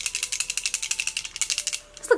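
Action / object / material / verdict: shake / liquid foundation bottle with a mixing ball / glass / none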